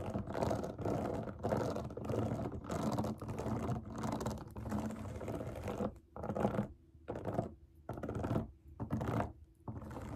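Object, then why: Silicone pop-it fidget toy. Long nails tap and scratch fast across the bubbles of a large, round, rainbow silicone pop it fidget toy resting on a table. The result is a dense, soft, muffled patter of rapid clicks and rubbing scrapes, continuous at first and then broken into short bursts with brief pauses.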